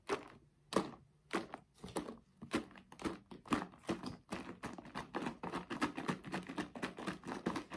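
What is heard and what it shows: A hand-sized yellow Tetra Pak-style paperboard drink carton with a white plastic screw cap, hollow and apparently filled with liquid, is held in both hands, shaken and tapped with fingertips. Dull, muffled thuds mix with soft sloshing and papery crinkles, with short gaps early on that give way to a faster, steadier run of taps and shakes.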